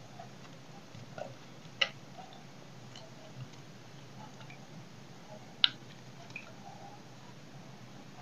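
A solid oval bar of dry soap, held in the hand, has its edge scraped and carved with a knife blade. Soft, scratchy scraping runs over a steady low hum and hiss, with two sharp, bright cracks standing out as the blade chips into the dry soap, plus a few fainter ticks.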